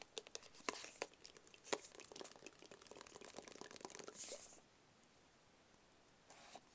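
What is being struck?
Small rigid cardboard box.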